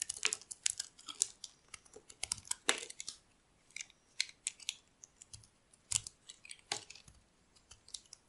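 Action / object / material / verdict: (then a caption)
scrape / bar of soap cut with a metal blade / soap / none. A metal utility blade carves the corners of a solid cream rectangular bar of dry soap held in the hand. Quick, bright, crisp scraping and crackling cuts come in uneven clusters, with brief quiet pauses, and each cut stops almost instantly with no ring.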